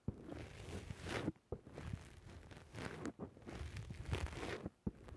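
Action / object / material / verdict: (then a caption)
scrape / foam microphone windscreen / foam / none. Fingertips press and squish a black rounded foam windscreen on a microphone. The result is close, low-heavy rustling and crunching, with soft crackles and brief sharp taps between long bursts of muffled scrunching.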